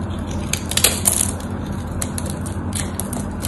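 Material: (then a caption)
Soap. A knife blade scrapes across a scored, solid white bar of soap, breaking off small cubes. Crisp, bright crunching and crackling snaps stand out over a steady low rumble.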